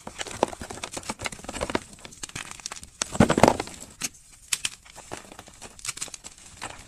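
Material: Magnesium carbonate.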